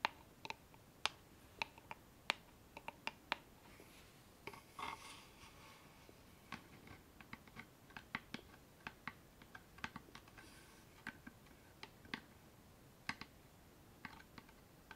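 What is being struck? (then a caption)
Small wooden box with metal clasp. A small hollow wooden box with a metal latch is held up and tapped and scratched with long painted nails on its lid and sides. Quiet, sharp, bright clicks and taps come in irregular bursts, with soft scratching and rubbing between them. Each tap dies away almost at once.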